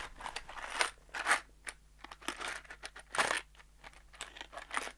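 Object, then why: Small cardboard box holding metal screws. A small brown cardboard box, hollow and filled with loose metal screws, is held in one hand, shaken and tapped with the fingertips. It gives a run of short, crunchy rattling bursts with bright, papery scraping and clicking, separated by brief pauses over a faint steady low hum.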